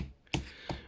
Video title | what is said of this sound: Storing squashes | That sounds quite solid at the moment.